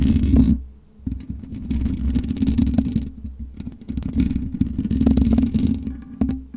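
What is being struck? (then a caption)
Metal mesh microphone grille. Long nails scratch and tap across the black metal mesh grille of a USB microphone, producing a dense, close-up rasping and clicking texture with a heavy low-end rumble and a steady mid tone. The scratching dips almost to silence for a moment near the first second, then resumes in uneven bursts of quick taps and scrapes until the end.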